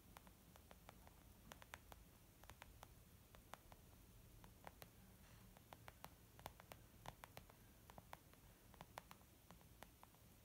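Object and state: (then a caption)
Leather makeup bag tapped with fingernails. Long almond-shaped nails tap on a small white textured leather zip makeup bag lying flat, which is soft and hollow. The result is a steady, irregular patter of quiet, short clicks with bright, crisp tops over a low, rumbling background hiss.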